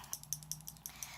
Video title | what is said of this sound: Lipsense Application Process | you shake it you'll hear there's a little ball in there right which is good it's mixing the color around